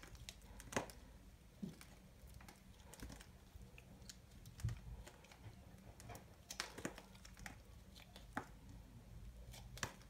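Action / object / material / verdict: scrape / soap ball shaved with a small knife / soap / none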